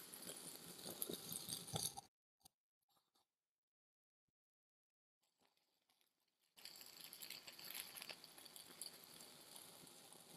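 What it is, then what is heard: Kinetic sand being cut. A steel kitchen knife held by hand slices slowly and repeatedly through a solid blue and tan kinetic sand dome already scored into blocks, giving a dense, bright, crumbly crunching and scraping. The cutting sound stops abruptly at about two seconds, leaving near silence with a few faint ticks. It resumes at a similar level from about six and a half seconds to the end.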